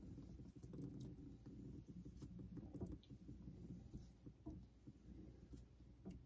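A vintage Geneva Cutlery steel straight razor is stroked along a solid, pale synthetic Naniwa Super Stone whetstone clamped over a sink. Soft, low rubbing and scraping is heard with light clicks at the ends of the strokes.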